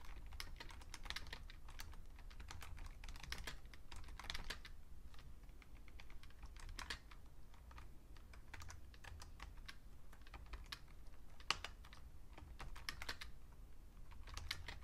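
Two hands type with their fingertips on a vintage beige plastic full-size Fujitsu Siemens computer keyboard. Rapid, bright, short key clicks come in uneven bursts over a steady low background hum.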